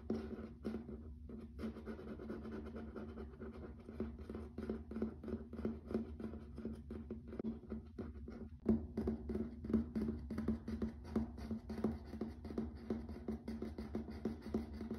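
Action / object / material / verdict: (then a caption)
tap / laminate plank floor / laminate / none. Fingertips and nails tap rapidly on a grey wood-grain wood-look laminate plank floor, with some scratching. The result is a quiet, dense run of short, dry, clicky taps at an uneven pace, over a steady low hum, and a few sharper taps stand out in the second half.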